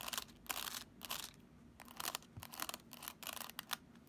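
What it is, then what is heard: Plastic graphing calculator. Long acrylic nails tap and click on the plastic keys and case of a handheld black plastic graphing calculator in the Texas Instruments style. The result is a quick, irregular run of sharp, bright clicks and scratchy taps with almost no low end and very short decay.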